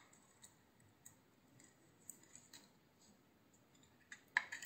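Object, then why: Soap bar cut with a knife. A utility knife slices the surface off a hand-sized white soap bar, a solid cream soap with a blue and pink coating. Nine quiet, crisp, bright clicks and scrapes come in short, sharp bursts with almost no low end. The last cuts near the end are the loudest.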